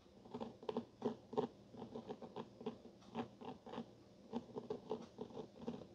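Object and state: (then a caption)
Cloth-covered hardcover book. The capped tip of a black pen traces and scratches along the embroidered-look vine pattern on the gray and blue cloth cover of a solid hardcover copy of Wuthering Heights lying flat on a wooden table. Quiet, dry scratching and soft tapping patter come in uneven bursts, with a muted mid-range tone and little bass or high hiss. Each scrape dies away almost at once.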